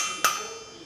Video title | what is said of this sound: GRAN TURISMO TRAINING CENTER VISIT: MENGUJI EFEKTIVITAS PEREDAM MOBIL LEWAT SIMULASI DEMO! | kalau kita ketok tengahnya diam tapi pinggirnya masih nyaring